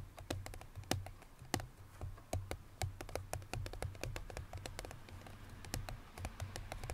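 Long nails tap rapidly on the lid of a small cardboard perfume box resting on a grey surface, producing a quick stream of short, dry clicks with bright edges. A steady low hum sits underneath, and the taps thin out as the hands move away by the end.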